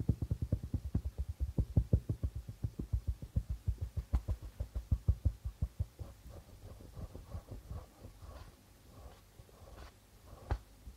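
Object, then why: Darbuka drum with plastic head. Both hands tap the white plastic membrane of a hollow darbuka drum with fingertips and nails. A fast, steady run of short, deep, booming thumps fills the first half, then gives way to softer, lighter taps with brighter clicks, before one final firm thump near the end.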